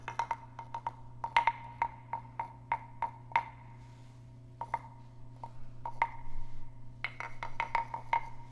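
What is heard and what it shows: A small, hollow, carved wooden frog guiro is tapped and scraped along its ridged back with a wooden stick held close to the microphones. Sharp, hollow wooden knocks ring briefly around 930 Hz, pausing in the middle before a denser rasping scrape and more taps. A steady low hum runs underneath throughout.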